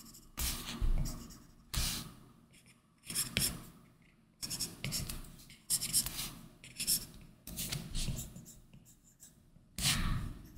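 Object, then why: Plastic stylus tip on glass tablet screen with matte film. A plastic Apple Pencil tip rubs and scratches across a large flat iPad Pro glass touchscreen fitted with a matte, paper-like screen protector film, in continuous sketching strokes. Bursts of dry, bright scratching rise and fade with each stroke, over a soft low rumble and brief pauses between strokes.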